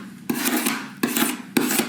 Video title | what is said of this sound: JerryRigEverything - Art Class With Jerry Compilation | it definitely sounds like metal